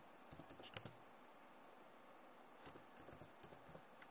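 Long nails type and tap on the keys of a backlit plastic laptop keyboard, making quick, bright clicking taps. A short burst of clicks is followed by a quiet pause, then a longer, more scattered run of taps.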